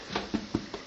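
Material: Nothing is struck.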